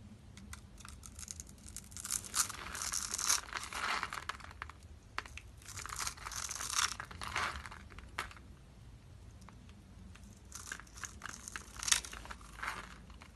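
A metal blade scrapes across a solid, dry oval bar of orange soap held in the hand, its surface pre-scored in a grid, crumbling off small cubes. Bright, crisp crunching and tearing scrapes come in three longer bursts separated by quieter pauses.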